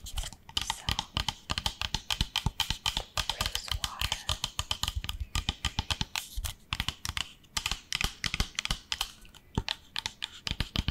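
A small, hollow pink plastic spray bottle with a white cap is held in one hand and tapped with long nails. A fast, steady stream of sharp, clicky taps runs throughout, each dying away almost instantly, with a bright top end over a soft thud.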